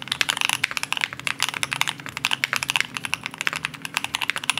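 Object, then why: Mechanical keyboard, aluminium case, plastic keycaps. Two hands type steadily on a compact green Cannonkeys Satisfaction75 mechanical keyboard with an aluminum case and plastic keycaps. The result is a rapid run of short, crisp keystroke clicks, bright with a peak around 2.6 kHz and almost no low end.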